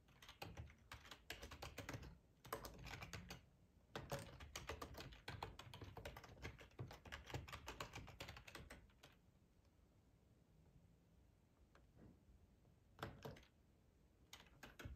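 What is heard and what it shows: Fingertips of both hands type on a black plastic ergonomic split computer keyboard with a hollow housing, lying on a tablecloth. Rapid bursts of clicky key taps, each with a soft low thud and a bright clack, fill the first nine seconds. After a quiet stretch of near silence, a few short bursts of typing follow near the end.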